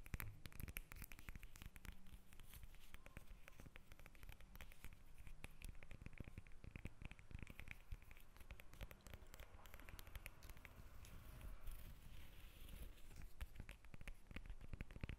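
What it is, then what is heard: Lemon tapped and scratched. A whole yellow lemon is held in the hands above the recorder while long nails tap and scratch its peel. Dense, quiet clicking and scratching go on steadily throughout, low and muffled, with no talking.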